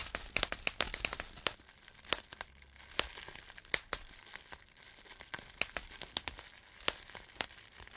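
Fingertips hold and pinch clear plastic bubble wrap, popping individual air bubbles one after another. Sharp, bright, dry pops come in an irregular, rapid series, with soft crinkling of the plastic between them.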